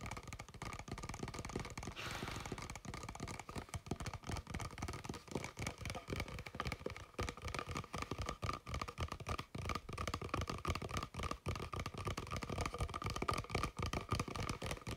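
An empty, clear plastic Kirkland water bottle with a blue cap is held and tapped and scratched across its sides with fingertips and nails. Quick, irregular taps and scrapes run steadily throughout, combining dull low thumps with a hollow plastic tone near 1.2 kHz and a bright scratchy rustle, plus a brief hissing scrape around two seconds in.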